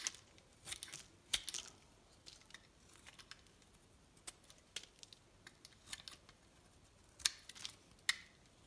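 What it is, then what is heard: Bar soap being carved. A solid pink bar of soap held in the hand is shaved with a metal knife, with thin flakes and curls falling off as it is carved. Quiet, irregular, crisp scraping and snapping cuts sound bright and high, each ending abruptly with almost no ring.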